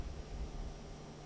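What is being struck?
Nothing is struck.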